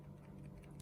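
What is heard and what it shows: A genuine AirPods Pro plastic charging case is shaken with the earbuds inside, and they are held firmly so there is no rattle. Only a quiet, steady low hum is heard, with no distinct clicks.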